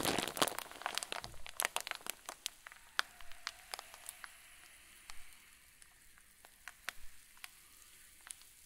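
A clear zip-lock plastic bag full of white fluffy stuffing is pressed and squeezed with the thumbs. It gives a dense burst of bright, crisp crinkles at first, then thins into scattered sharp crackles and pops over a faint hiss.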